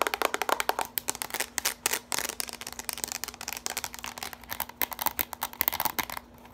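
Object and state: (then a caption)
Plastic bowl. Long pointed nails rapidly tap and scratch the outside and rim of a small, empty, hollow orange plastic bowl with ridged sides as it is held and tilted. Dozens of quick, bright, dry clicks and scrapes tumble over one another with almost no ring, over a faint steady low hum.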